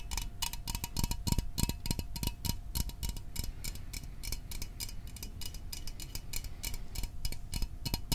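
A small, hollow metal Fanta orange soda can is held close to the microphone and tapped quickly with fingertips and fingernails. The taps come in a fast, uneven stream of short, bright clicks with a faint metallic ring, over a soft low rumble.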